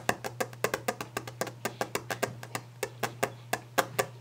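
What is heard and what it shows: Fingers tap a wooden desk fast and aggressively, making 25 short, dry, wood-block-like knocks with a hollow mid pitch and almost no ring. A low steady hum runs underneath.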